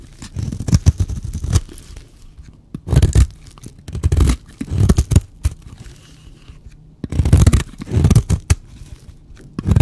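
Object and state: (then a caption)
Dry bar soap being cut. A blade cuts and scrapes a solid, dry white bar of soap in repeated bursts of crisp, crumbly scraping and tearing, separated by short pauses. The sound is mostly low and dull with quick, dry crunches that stop without ringing.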